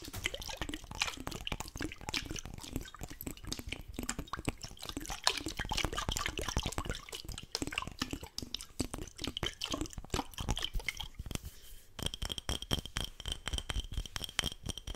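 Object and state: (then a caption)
Empty glass jar with metal lid. A small, clear, empty glass jar with a gold metal screw lid is held close to the mic and tapped quickly with fingertips and nails on its glass sides. The result is a dense stream of fast, bright clicks and light glassy knocks that die away almost at once. A faint steady high tone joins in near the end.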